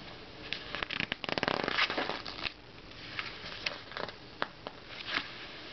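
Fingertips slide over the pages of an open glossy Self magazine, pinching and turning the page edges. A dense run of dry, crackly paper rustling builds early on, followed by scattered sharp, bright flicks and soft slides. The sound is mostly high and crisp, with very little low end.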